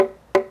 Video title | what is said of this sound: สืบสานตำนานเครื่องดนตรีไทย (ขลุ่ยตอนที่1) | ความแข็งมีเยอะนะครับแม้แต่เคาะก็ยังมีเสียงกังวาน